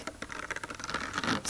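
Fingertips tap quickly on a thin, bumpy plastic breadstick container with raised circular bumps, thinnest at the circles. The result is a light, dry patter of short, bright clicks with almost no ring, rising into a brief scratchy rustle at the end.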